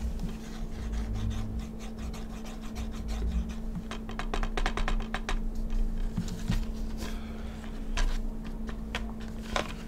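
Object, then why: Plastic DVD case in cellophane wrap. Fingertips rub and scratch the cellophane-wrapped cover of a hollow plastic Call of Duty Black Ops 2 PC DVD game case resting on a desk, then the case is lifted and turned. Dense, quick scratchy crackles and taps sit over a steady low hum.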